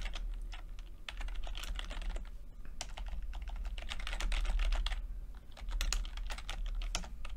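Fingertips of both hands rapidly tap a low-profile plastic computer keyboard with red and purple backlit chiclet keys, whose flat, mostly hollow keycaps sit over switches. Quick, irregular clicky taps fill the clip over a steady low hum.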